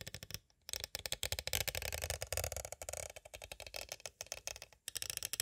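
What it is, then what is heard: Clear plastic cassette tape case. A small, hollow, clear plastic cassette tape case is tapped on its sides with two green plastic stick tools. The result is a rapid run of crisp, bright clicks and clatters with very short decay, pausing briefly near the start and again near the end.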